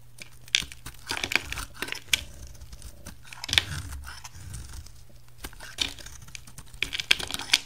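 A solid, bright green translucent oval bar of soap is shaved with a utility knife, peeling off thin green curls. The result is a run of short, crisp, bright scraping and crinkling strokes. Sharper clicks stand out here and there above a low steady hum.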